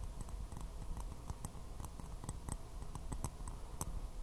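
A small white porcelain teacup with a floral print, hollow and empty, is held upside down and tapped quickly with fingernails. It makes a rapid, uneven run of light, dry clicks with bright ticks that die away almost instantly, over a steady low rumble.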